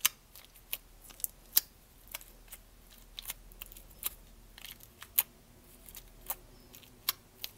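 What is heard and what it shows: Long nails tap the lid and sides of a small, clear, lidded plastic tub full of purple slime held close to the microphone. About sixteen short, bright, clicky taps come at an irregular pace, each dying away almost instantly over a quiet background.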